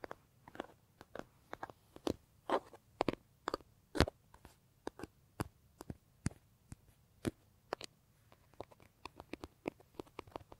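Fingertips scratch and lightly tap the surface of a large, hollow brown leather bag held against the body. The result is a quiet, irregular stream of short, dry taps and scratchy clicks with quick onsets. Each one has a soft low thump and a bright crisp edge that dies away almost instantly.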